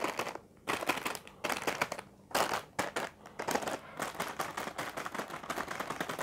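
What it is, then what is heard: Plastic-wrapped instant noodle pack. A full, sealed Indomie Mi Keriting Ayam Panggang instant noodle pack, a single larger plastic film packet with a curly noodle brick inside, is tapped rapidly with the fingertips and nails of both hands. Bursts of dense, crinkly plastic tapping and crackling alternate with brief quieter gaps, then run nearly continuously toward the end.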